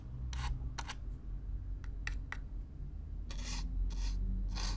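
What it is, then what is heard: Cardboard box brushed. A stiff black-bristle brush is drawn across the surface of a hollow, brown corrugated cardboard box, close up. Irregular raspy, scratchy strokes come through as bright, airy bursts, some quick and some longer sweeps, over a steady low rumble.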